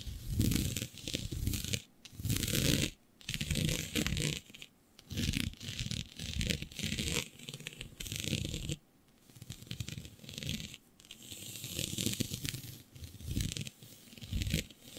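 Long nails scratch a flat sheet of black synthetic stretch fabric with a shiny dotted pattern. The scratching comes in bursts of rough, rustling texture separated by brief pauses, with a low rumbling body and a bright, hissy top.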